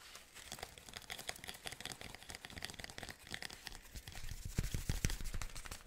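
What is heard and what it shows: A hand crumples and rustles the synthetic fabric petals of an artificial orchid spray. It makes a dense, crinkly, papery rustle with bright edges and soft low thumps underneath. The handling grows louder and more forceful toward the end.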